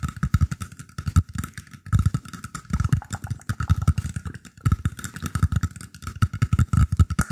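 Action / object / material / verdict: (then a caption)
tap / woven bamboo tray / bamboo / none. Fingertips scratch and tap the surface of a round, shallow woven bamboo tray held beside a microphone. The result is a dense, irregular stream of soft, low, thumping taps mixed with dry scratching, with a faint steady tone running underneath.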